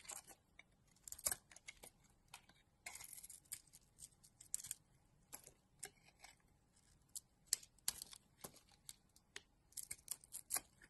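A utility knife blade scrapes and carves a solid oval blue and pink bar of soap held in the hand, with shavings falling away. Quiet, bright, crisp scraping strokes come in short separate bursts, each dying away almost at once, with very little low end.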